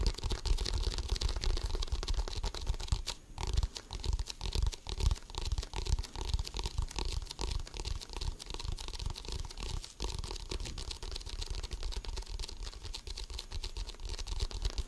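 An inflated, hollow composite leather basketball is held close to a microphone and scratched and tapped with fingertips and nails. The result is a dense, continuous rasping crackle over a deep, hollow, boomy low end, with quick dry taps. There is a brief lull around three seconds before the scratching resumes steadily.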